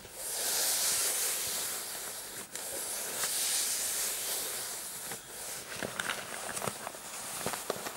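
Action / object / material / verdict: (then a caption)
scrape / fabric coin purse with metal frame / fabric / none. Fingertips with short painted nails scratch a hollow, soft, dark floral fabric coin purse with a metal kiss-lock frame, making a steady, bright, hissing rasp. Then the hands lift the purse and squeeze and rub it, and the scratching turns into uneven rustling broken by sharp little clicks.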